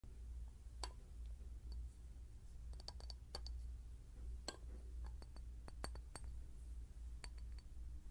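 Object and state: Glass bottle.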